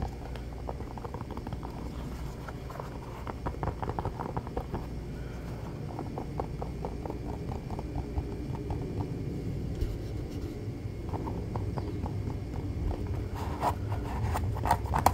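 Fingertips quickly tap and scratch an orange Croc-style molded foam clog with vent holes, its hollow shoe held in one hand. Soft, dull clicks patter at an uneven fast pace over a steady low rumble, with brief, dry taps that die out almost instantly. The tapping grows slightly louder and sharper toward the end.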